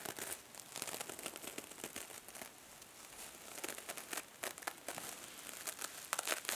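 A small silver metallic mesh scrub sponge with a foam core is held in one hand while the fingers squeeze and crumple it and the nails scratch across its surface. It makes dense, bright crinkling and scratchy rasps in quick bursts, with almost no low end and no ringing after each sound.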